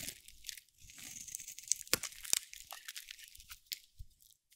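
A metal blade scrapes and carves strips off the face of a solid, dry, cream-white soap bar with a teal edge. The sound is a bright, crackly, tearing scrape with a few sharp crisp snaps along the way, then it tapers into quieter scratchy flicks.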